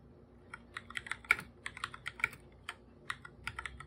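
Bare fingertips type continuously on a hollow, full-size black plastic computer keyboard with plastic keycaps. About 17 quick, dry, bright clicks come at an uneven pace, with a few harder taps standing out over a faint low hum.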